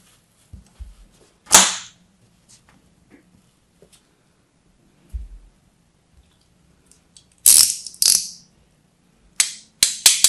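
A hand-sized solid blue bar of soap with a textured, crusted starch coating is held in one hand and scored with a small metal blade by a hand with long red nails, scratching and cutting into it. Sharp, bright, crackling scrapes burst out in short bursts, each fading quickly, separated by quiet stretches with small ticks and a faint low hum beneath.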